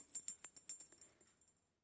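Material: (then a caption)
Metal bells. A baby's toy rattle (jhunjhuna) is shaken in about eight quick bursts, giving a bright, thin jingling with almost no low end. The jingles are crisp with very short ring, and the shaking tapers off and fades to silence after about a second and a half.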